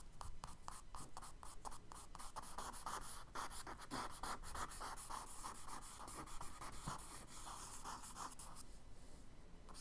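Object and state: Charcoal drawing on kraft paper.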